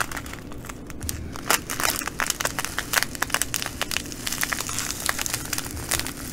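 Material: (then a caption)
Plastic, glass. Long nails scratch and pinch a clear plastic bag of green glass bugle beads lying on a table. The result is a dense, bright crinkling and crackling with sharp, quick-fading clicks from the beads, over a faint low steady hum.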